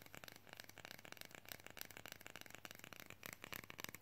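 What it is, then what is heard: Plastic fridge magnet, thin and solid. Long fingernails tap rapidly on a flat, thin, solid plastic fridge magnet cutout printed with Groot from Guardians, held in both hands. The result is a fast, steady stream of short, dry, bright clicks with almost no ring, over a faint low hum.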